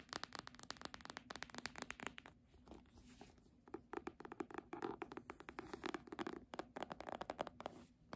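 Long nails tap the spine of a red embossed faux-leather hardcover book, then scratch and tap along its top edge and cover as the book is tilted. The result is a quick run of dry, clicky taps with short scraping passes between them, each sound dying away almost at once.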